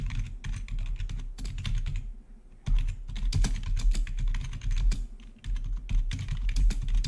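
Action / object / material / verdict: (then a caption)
tap / plastic membrane keyboard / plastic / none. Fingertips of both hands type rapidly on the keycaps of a full-size black plastic membrane-style gaming keyboard with blue-to-red RGB backlit keys. Dense, irregular clicky keystrokes come in bursts, with a low thudding undertone and brief pauses near two and five seconds.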